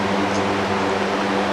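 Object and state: Nothing is struck.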